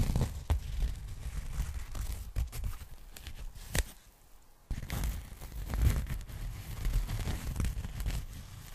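Fingertips and long nails scratch and handle a large pink polyethylene foam packing bag spread open in front of the mic, producing soft crinkling, tearing-like rustles with a dull, low-heavy body and a few sharper clicks. The handling drops to near silence for about half a second near the middle, then the scratching resumes at a similar level.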